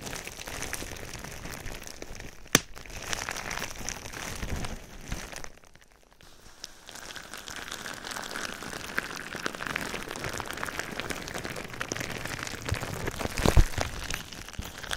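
Silver foil-lined metallized plastic bubble wrap draped over a binaural microphone is pressed and rubbed with fingertips. It produces a steady, rain-like crinkling and crackling, with two sharp pops that stand out. The crinkling drops almost to silence for a moment in the middle before continuing.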